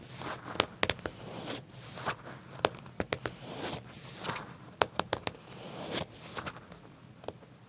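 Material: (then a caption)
Leather. Fingernails scratch and tap along the pocket edge of black leather trousers. Soft, dry scratching rustles run throughout, broken by a series of sharp, quick clicking taps with bright texture and almost no ring.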